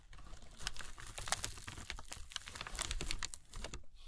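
A crumpled sheet of tissue paper spread flat on burlap is rubbed, scratched and crinkled across its surface by fingers with long red nails. Dense, quick crackling and scratchy rustles with bright, sharp crinkle bursts keep going for about four seconds, sitting over a low rumbling underlayer.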